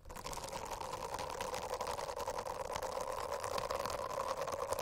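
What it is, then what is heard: Silicone bristle notebook cover. Long acrylic nails scratch across the dense small bristles of a rainbow-striped silicone notebook cover. The result is a steady, buzzing rasp with a humming tone near 600 Hz and a fine, bright crackle on top that holds for the whole clip.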